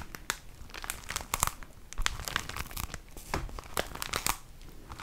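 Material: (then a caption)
Plastic film. A flat, medium-sized pack of 20 tissue paper sheets sealed in a thin plastic sleeve is crinkled and squeezed by hand. The result is a dense, steady run of sharp, bright crackles and crinkles with quick, dry snaps and no ring.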